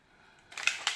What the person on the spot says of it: when you shake it up, you can hear that little ball